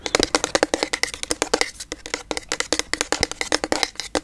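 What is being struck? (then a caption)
Plastic bottle with liquid. A pink frosted plastic toner bottle with liquid inside, held sideways, is tapped with long yellow nails. About 35 quick, dry clicks sound in an uneven rhythm, each bright and hollow with a midrange knock and almost no ring.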